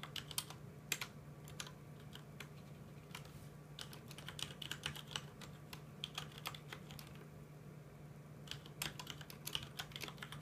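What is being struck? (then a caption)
Plastic mechanical keyboard. Fingertips of both hands tap the keys of a full-size mechanical keyboard with plastic keycaps, producing quick, bright, clacky clicks in uneven bursts with brief pauses between them. A steady low hum runs underneath throughout.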